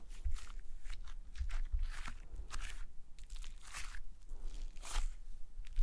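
A large, flat sheet of pale green slime lies on a table and is pressed, poked and kneaded by fingertips and nails. Repeated crunchy, squishy bursts of crackling are heard, with a low rumble underneath throughout.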